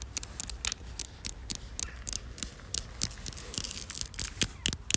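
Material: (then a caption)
Concrete. Long black fingernails tap and scratch a weathered, solid concrete slab outdoors, producing around twenty sharp, bright clicks mixed with gritty scraping. Each tap is very short with almost no ring, over a faint low rumble.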